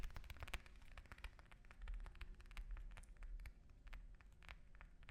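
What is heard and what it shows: An orange is tapped with fingers and nails, giving a quick, irregular run of short, dry clicks and soft thuds. Each tap stops almost instantly, with bright nail ticks over a quiet, low rumbling background.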